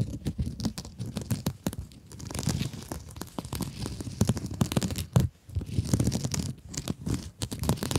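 Long acrylic nails scratch and squeeze a rectangular blue mesh scrub sponge. A close, dense run of scratchy crackles and crinkly rasps sits over a soft low rumble, rising and falling in uneven bursts with a couple of brief near-silent gaps.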